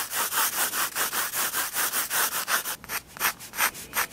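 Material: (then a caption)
Paper. A 4B pencil shades a spiral-bound sketchbook page of drawing paper resting on a wooden table, rubbing back and forth across the paper. The quick, even strokes make a bright, dry scratching hiss for most of the clip, then slow to fewer, more spaced-out strokes with short quiet gaps at the end.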